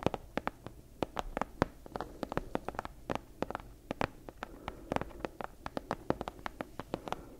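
Long acrylic nails tap and scratch the front of a medium-sized book with a worn brown leather cover, held upright in both hands. About three dozen short, dry clicks land in an uneven rhythm, some slow and some in quick clusters, each dying away almost instantly. Soft scratching fills the gaps between taps.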